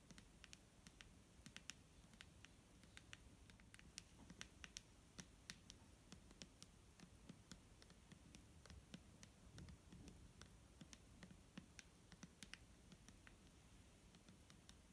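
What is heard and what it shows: A medium clear plastic Garnier micellar water bottle, filled with liquid and held in the hand, is tapped with fingernails. Quick, soft, bright clicks patter at an irregular pace over a low, steady rumble, each tap dying away almost instantly.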